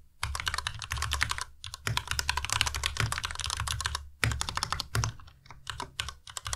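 Fingertips of both hands type continuously on a compact white Ducky Miya Pro mechanical keyboard with white plastic keycaps and Cherry MX Red switches. The result is a rapid stream of short, crisp clacks with a low thocking body and bright tops, broken by brief pauses before typing resumes.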